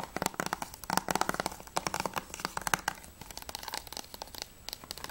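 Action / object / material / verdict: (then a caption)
tap / plastic game case / plastic / none. A closed, hollow plastic PS3 game case for Journey is tapped quickly with long nails across the front cover, the spine edge and the back cover. The result is a rapid run of short, dry, clicky taps with a hollow knock around 1 kHz and bright edges, each dying away almost instantly. The tapping is busiest in the first three seconds, then settles into lighter, sparser taps.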